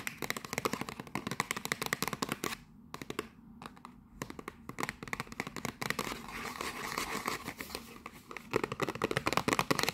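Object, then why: Printed cardboard box with a mug inside. Long nails scratch and tap rapidly along the edges and sides of a small printed cardboard gift box with a barcode, holding a mug inside. Dense, crisp clicks and papery scratches fill most of the clip, with a quieter, sparser stretch in the middle before the fast tapping picks up again.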